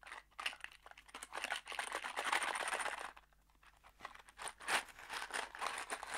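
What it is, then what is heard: Cardboard box with screws, shaken. A small kraft cardboard box holding screws is held between the fingers and shaken. Quick, irregular bursts of bright rattling and crinkly scraping rise and fall, with a brief lull partway through before the shaking picks up again.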